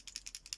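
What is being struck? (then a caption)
Plastic paint marker pen with mixing ball. A plastic paint marker pen is shaken, and the mixing ball inside rattles in a quick series of sharp, bright clicks. The clicks are high-pitched and dry, with almost no low end and no ring after each one.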